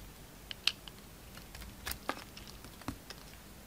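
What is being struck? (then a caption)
Bar of soap cut with a knife blade. A utility knife blade shaves thick curls off a solid green bar of soap held in the hand. Quiet, irregularly spaced crisp scrapes and clicks sound out, mostly bright with little low end, each dying away almost instantly over a faint background.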